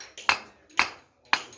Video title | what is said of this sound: Spalling Edwards chert at Heart Of Texas Knapin in Brady Texas | You can hear the hollow sound.